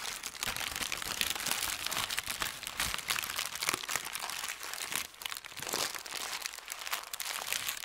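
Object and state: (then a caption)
Thin paper sheet being crumpled. A thin white paper sheet is bunched and crumpled in both hands over a felt mat. It makes a dense, continuous run of bright, crisp crinkles and crunches with almost no low end, the texture rising and falling steadily for about eight seconds.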